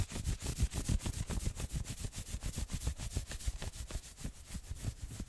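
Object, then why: Fleece hoodie sleeve. Fingernails scratch and rub quickly across the maroon sleeves of a worn fleece hoodie. The fast, fairly steady strokes come at about three per second, each a soft, low, muffled rub with a thin, bright hiss of fabric on top.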